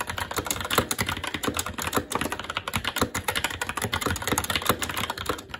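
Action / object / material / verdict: tap / mechanical keyboard with plastic keycaps on a metal plate / plastic / none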